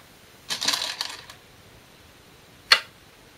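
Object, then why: Glass go stones on a wooden go board. Glass go stones are placed on a shinkaya wood go board, giving sharp, bright clicks of glass on wood. A quick cluster of clicking placements comes first, then after a pause a single crisp click rings briefly and dies away.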